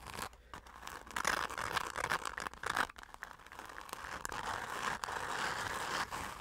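Long acrylic nails and fingertips scratch and tap quickly across the surface of a dark glitter-covered fabric zip pouch held up close. The result is a dense, irregular run of crackly, crinkling scratches and dry taps with a bright, papery texture and almost no low end. The bursts swell and drop unevenly throughout.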